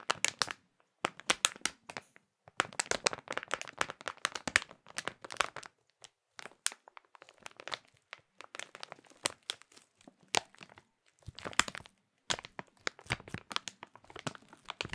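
Hands squeeze and crinkle a clear printed plastic bag holding a small food item. Bursts of bright, crisp crackling and rustling come in quick clusters separated by brief pauses, with almost no low end and each crackle dying away instantly.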